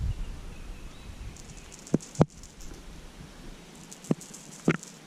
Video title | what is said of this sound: Hair Jig, Lizard, and a Yum Worm Were Clutch! Day 1 of my Summer Adventures 2024! | just a real faint click cck cck click cck cck cck